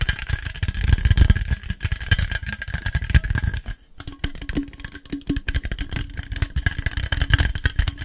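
An aluminium Monster Energy drink can is tapped fast and aggressively, making a dense stream of dull, low thumps with light rattling clicks. The taps run almost continuously, dip briefly just before the midpoint, then resume with a faint hollow ring from the can.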